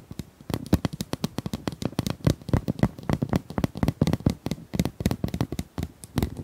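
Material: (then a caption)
Plastic. Long nails tap and scratch rapidly across the ribbed surface of a hollow pink corrugated plastic pop tube, about 25 cm long, held in both hands. The result is a dense, uneven run of short, dry clicks and taps with a hollow, low body. Each tap dies away almost instantly.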